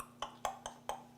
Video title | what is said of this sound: PAIN BURGER BUNS MAISON 🍔 Pain moelleux ultra facile avec ou sans THERMOMIX Petite bette | quand on tape ça sonne creux maintenant